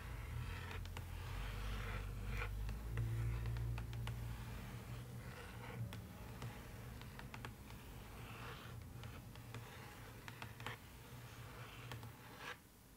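Long nails scratch and tap the floor inside an empty, open cardboard box lined with dotted paper. Soft, quick taps and brushy scrapes repeat irregularly over a steady low hum, and the sound stays quiet throughout.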